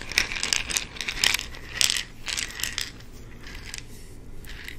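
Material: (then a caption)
Plastic. An amber plastic pill bottle with an orange cap is handled, its cap twisted to give ratchet-like clicks, and tapped with the fingertips. Short, bright plastic clicks and taps come in irregular bursts, each dying away almost instantly, over a faint low hum.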